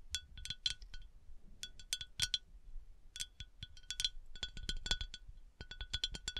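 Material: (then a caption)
Glass. A glass bath oil decanter is tapped and scratched in quick bursts, giving bright, short clinks with a high ringing tone and a faint low thump under each tap. The taps come in rapid clusters with brief pauses between them, and each one dies away almost at once.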